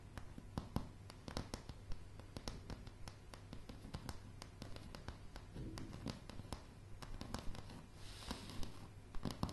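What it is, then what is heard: Wooden floorboards. Long, dark-blue polished nails on both hands tap and scratch a light, solid wooden plank floor. Quiet, dry, short clicks and knocks come in quick irregular runs over a steady low rumble, with soft scratchy brushing between them. A brighter scraping swell rises near the end.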